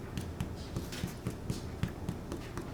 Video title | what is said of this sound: Homemade Potato Bread (4-13-2021) | you can tell that they're done with the nice tap it doesn't have that hollow sound